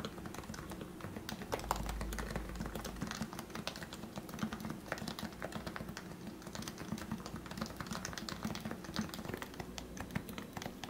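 Fingertips type rapidly on the plastic keycaps of a compact, lubricated Leopold FC660C Topre keyboard with 45 g switches. A steady stream of soft, muted, thocky keystrokes is heard, with a low, rounded body and quick, dry decay.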